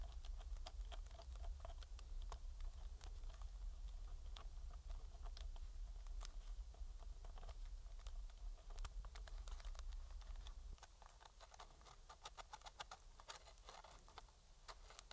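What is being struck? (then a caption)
Plastic game controller scraped with a metal pick. A metal pick scratches around the thumbstick of a hollow black plastic PS4 controller, then moves along the seam of its back shell. Dense, irregular clicks and bright, sharp scrapes sit over a steady low hum. The scraping grows quieter and sparser in the last few seconds.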